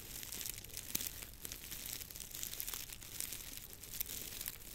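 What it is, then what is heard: Dry grass stalks, crinkled. A long bundle of dry, straw-like grass stalks tied in the middle is held in both hands over a microphone while fingers rub, crinkle and twist the stalks. The result is a steady, bright, dense crackling and rustling with occasional sharper snaps, mostly in the high range with little low end.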